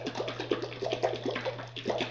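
A jar of homemade chebe oil, herbs and dried roses infused in oil and left to sit for about two months, is shaken repeatedly. The liquid sloshes inside in quick, rhythmic splashes over a steady low hum, showing the jar holds liquid oil.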